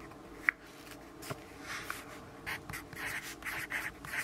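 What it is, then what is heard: Pencil writing on a paper notepad. A yellow graphite pencil writes in small strokes on a lined paper notepad resting on a wooden desk and held by the left hand. A sharp tick near the start is followed by quiet, bright scratching bursts centred around 2 kHz that grow busier toward the end.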